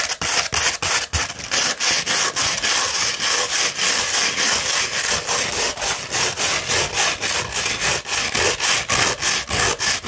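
Long red nails scratch a coarse 60-grit sandpaper sheet rolled into a tube. About twenty quick, evenly paced strokes produce a bright, gritty rasping hiss with little low end.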